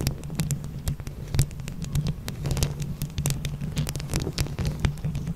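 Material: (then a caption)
Plastic. A microphone grille decorated with small, hollow plastic flower buttons is scratched rapidly with the long acrylic nails of both hands. A dense stream of quick, dry clicks and scratchy ticks with bright, short-lived edges sits over a steady, heavy low throbbing hum.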